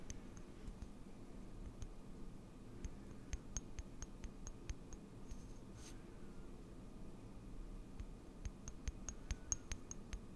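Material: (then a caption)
Glass. Long nails tap and click on a small frosted glass serum bottle with a dropper cap, partly filled with liquid and held up in one hand. Sharp, bright, very short clicks come in scattered bursts over a quiet, low rumbling background, with a brief soft swish near the middle.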